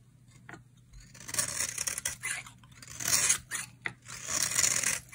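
A utility knife blade shaves curls off the edges of a solid, dry orange bar soap held in the hand. It makes bright, crisp scraping and rasping strokes in uneven bursts, with short pauses between them.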